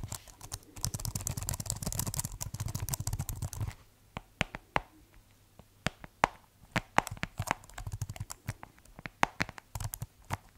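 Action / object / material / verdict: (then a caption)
tap / plastic computer keyboard / plastic / none. Fingertips type on the keys of a keyboard with a white plastic case. For the first few seconds the keys are pressed in a fast, dense burst with a low thumping undertone, then the typing slows to sparse, separate sharp clicks with bright edges and almost no ring.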